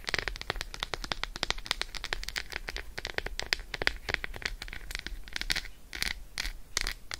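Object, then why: Milk chocolate bar. Long acrylic nails rapidly tap and scratch the squares of an unwrapped Roshen milk chocolate bar, a solid slab held in hand. The result is a quick, dense stream of short, dry, bright clicks and scratchy strokes centered around 2 kHz, over a faint steady low hum.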